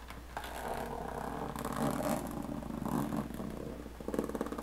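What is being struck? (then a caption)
Aluminum carry case with textured lid. Long painted fingernails scratch across the textured diamond-plate lid of a closed, hollow aluminum carry case, making a steady rasping, mid-toned scrape over a faint low hum. The clip ends with a run of quick, light taps on the lid that ring only briefly.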